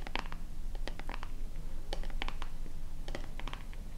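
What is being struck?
Plastic lotion pump bottle.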